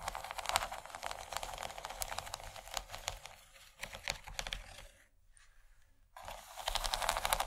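Long nails scratch across the corn-cob texture of a large, empty yellow textured plastic tray, making dense, bright crackling scrapes in quick, uneven bursts. The scratching softens and nearly stops for about a second just past the five-second mark, then picks back up louder until the end.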